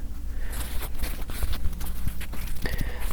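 Fingers tap on the wooden base of a small plush fabric fake succulent, producing a run of dull, low, hollow knocks with almost no ring. The taps are quick and close together, like soft clip-clop clicks.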